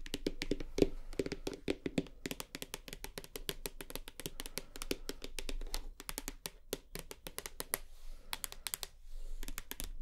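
A full plastic shower gel bottle held upright is tapped rapidly on its side with long nails. The result is a dense run of short, sharp clicks over a dull, low body, each dying away almost instantly, with a few brief pauses between bursts.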